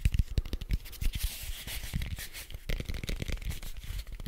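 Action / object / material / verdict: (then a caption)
scrape / foam cube / foam / none. A large red foam die with white dots, made of soft foam, is held beside the microphone and quickly scratched and tapped with fingertips and nails. Dull, low thumps mix with a dry, bright scratching hiss in a fast, irregular stream. Each tap stops short, with almost no ring.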